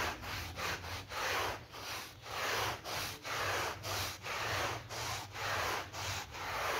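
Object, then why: Synthetic pile rug scrubbed with a bristle brush. A yellow bristle brush, held in a green-gloved hand, scrubs a small rectangular synthetic pile mat that lies flat on the floor, wet with muddy foam. Steady back-and-forth strokes make a broad, bright, scratchy swishing with a faint wet hiss, rising and falling in a rough rhythm of about one stroke per second.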